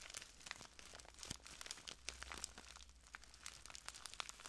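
A small clear plastic bag full of translucent granules is crinkled and squeezed by the fingertips of both hands. It makes quiet, dense, bright crinkling and crackling, with many quick, sharp clicks and little low end. A faint low hum sits underneath.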